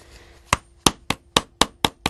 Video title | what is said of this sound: Les gestes du cordonnier bottier 13 | on entend bien à partir de ce moment-là que la pointe est sur de la ferraille, puisque ça sonne